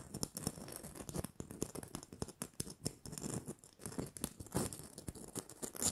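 Long manicured nails scratch and tap the rough glitter surface of a small, hollow red glitter-covered plastic Christmas bauble with a gold cap and string. A rapid, uneven stream of dry, crackly scratches and sharp little taps is heard, with a bright gritty hiss on top and a soft low body underneath. Each tap dies away almost instantly.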